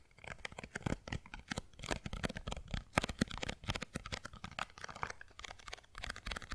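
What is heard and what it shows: A small printed white and green cardboard box, hollow and apparently empty, is held in both hands close to the mic and tapped and scratched with long blue-painted nails. Rapid, dry, hollow taps mix with scratchy, crinkly rustles, each sound dying away almost instantly. The result is a dense, uneven patter with a soft, low body and some bright scratching on top.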